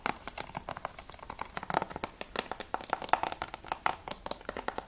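Fingertips and nails quickly tap the front cover of a hollow plastic PS3 game case for Battlefield Bad Company 2, which has a clear sleeve and holds a disc. The result is a rapid, uneven stream of short, dry, hollow clicks centered around 750 Hz, with bright edges, almost no low end, and each tap dying out almost instantly.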